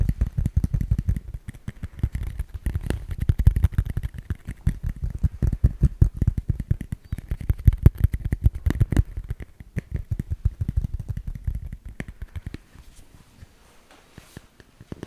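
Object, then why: Smartphone in plastic case. A handheld smartphone in a solid black plastic case is tapped and scratched along its back and edges with fingertips and nails close to the microphone. It makes a dense, rapid stream of dull, low thumps with short scratchy clicks and almost no ring. The tapping thins out and grows quieter near the end.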